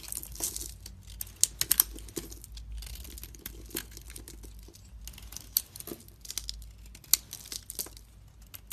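A knife blade shaves flakes off a solid pink-coated, pink and white bar of soap held in a hand with long red nails. The result is a steady, bright, dry scraping and crinkling, broken by sharp crisp snaps and crunches as the flakes come away.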